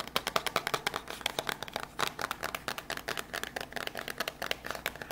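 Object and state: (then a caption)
Small cardboard box. Quick, crisp tapping with long grey nails on a small white printed cardboard box for a PM10 lavalier microphone, held in both hands, hollow with the microphone inside. Rapid dry, hollow clicks with bright upper content and almost no low end, each hit dying away almost instantly.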